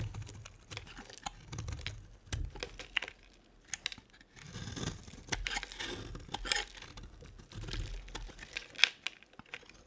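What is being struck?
Bar of soap cut with a small blade.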